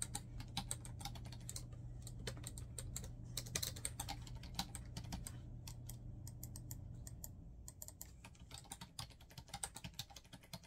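Fingertips type quickly on a black plastic laptop keyboard, producing dense, uneven bursts of short, crisp key taps with bright clicks. A steady low hum sits underneath for the first seven seconds, and the taps grow sparser and more distinct toward the end.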